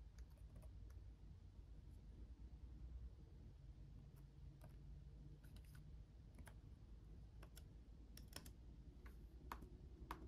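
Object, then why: Plastic laptop keyboard keys. Both hands type with their fingertips on a black laptop keyboard with RGB-backlit plastic keys. The scattered taps are quiet, short, bright clicks, sounding over a steady low hum throughout.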